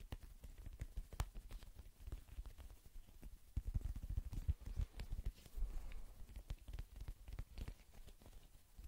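Fingertips rapidly tap a small, hollow, inflated black-and-white soccer ball with a synthetic leather/PVC cover, held in both hands. The result is a quick, irregular patter of soft, dull, low thumps that stop almost instantly, with no bright ring.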